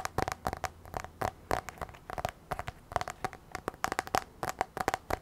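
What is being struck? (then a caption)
Tablet glass touchscreen. Long nails tap rapidly on the black glass touchscreen of an iPad, a thin, flat device held tilted. About 28 sharp, dry clicks come in quick, uneven bursts, each with a faint ringing tone around 770 Hz that dies away almost instantly.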